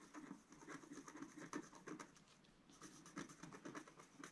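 A wooden stylus scratches repeated strokes across a flat, black-coated scratch-art sheet about A4 in size, lying on a table while the other hand holds the sheet steady. The quiet, dry scratches come in quick bursts with a soft low-mid body and a bright, papery hiss, easing into a brief lull midway before the strokes pick up again.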